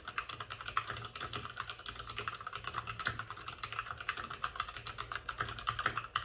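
Both hands with short-nailed fingertips type rapidly on a white full-size plastic mechanical keyboard with plastic keycaps and RGB backlighting, resting on a desk with a padded wrist rest. A dense, steady stream of crisp, short clicks and clacks centered around 1.3 kHz, with bright edges, runs throughout over a faint low hum.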